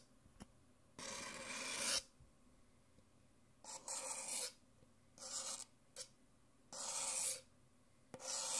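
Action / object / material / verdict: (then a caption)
scrape / paper cup / paper / none. An empty white printed paper Nespresso cup is held in one hand while painted fingernails tap and scratch its thin outer wall, and a thin white stirrer scrapes inside it near the end. Bright, raspy scraping bursts alternate with a few short, light taps, giving a hollow, thin-walled sound.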